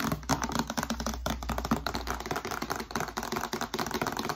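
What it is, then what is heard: Cardboard box tapped with nails. A small, narrow, hollow white cardboard retail box with a hanging tab is held in one hand and tapped rapidly with long nails. The taps are quick, dry clicks with almost no ring, in a dense, uneven flurry over a faint low hum.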